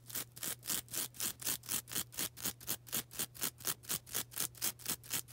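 A small, soft, porous yellow-green foam sponge is rubbed and scratched with long black nails. About 22 quick, evenly spaced strokes come at roughly four per second, each a bright, hissy scrape. A faint steady low hum runs underneath.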